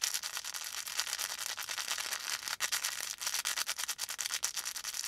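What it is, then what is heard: Felt volcano plush being rubbed. A felt volcano plush with a faux fur top is held in both hands while fingertips rub and squeeze the felt. It makes a steady, bright, scratchy rustle of rapid overlapping scrapes, with almost no low end and only a brief dip partway through.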